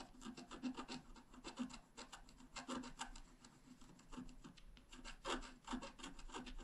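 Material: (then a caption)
Coated paper. A wooden stylus scratches and hatches the coating of a thin, flat, black-coated scratch art card. Quick, dry rasping strokes come in a steady, uneven series, bright and papery, with a faint low hum underneath. The scratching stays quiet and close throughout.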